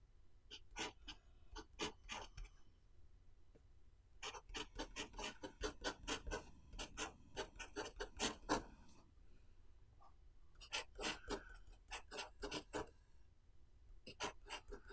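A blue pen writes Chinese characters at the bottom of the right page of an open paper notebook held flat by one hand. Short, bright scratching strokes of pen on paper come in quick, uneven bursts of about four per second. The strokes break off into quiet pauses around 3 to 4 seconds and 9 to 10.5 seconds.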